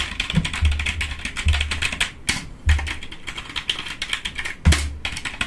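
Fingertips rapidly tap the keys of a black plastic computer keyboard, producing a dense run of crisp, bright clicks. Every second or so, a deeper, louder thump with a low boom underneath stands out from the stream of clicks.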